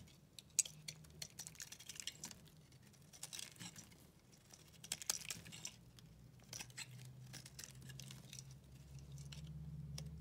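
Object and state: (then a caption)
Bar of soap being cut. A utility knife blade cuts thick shavings off a solid white bar of soap held in the hand. It makes quiet, crisp, bright crunching and scraping strokes at an irregular pace over a low, steady hum.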